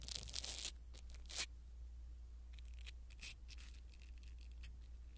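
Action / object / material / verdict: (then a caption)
scrape / foam microphone windscreen / foam / none. A blue silicone-bristle ear pick brushes across a small black foam windscreen on a pin microphone, giving soft, bright scratchy rustles in bursts over a steady low hum. The strokes come thickest at the start, with a sharper sweep near 1.4 seconds and another near 3.3 seconds.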